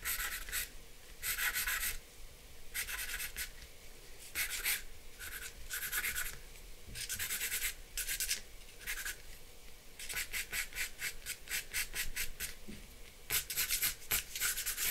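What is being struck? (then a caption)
Charcoal pencil on drawing paper over a board. A black charcoal pencil rubs and scratches across a flat sheet of white drawing paper on a dark board while outlining a pair of glasses. Bursts of bright, dry scratching come in short strokes, with a quick run of rapid strokes near the end. A faint low hum sits underneath throughout.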